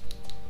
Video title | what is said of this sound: KUPA TV Live Nail Demo | when you tap on it and you can hear this, you know, noise, that means it's very crisp, you know, kind of noise. That means it's already dry